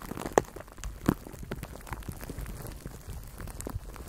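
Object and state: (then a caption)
Plastic cling wrap crinkled on a microphone. Fingers squeeze and crinkle clear plastic cling film wrapped around a microphone cupped in both hands. The result is a quiet, irregular stream of soft crackles and pops, with two sharper snaps standing out early on.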